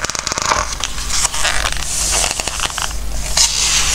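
Fingertips rub across and turn the glossy paper pages of an open Christmas craft book held by hands on a wooden table. The result is a steady, bright crackling rustle with quick papery flicks and scrapes over a faint low hum.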